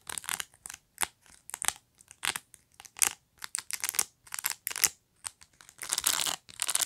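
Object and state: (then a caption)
Plastic pet brush. A black plastic pet brush is held up close while long nails scratch across and pluck its rows of plastic bristles. Quick, bright, crackly bursts come in an uneven run of many short strokes, ending in a longer, denser scrape.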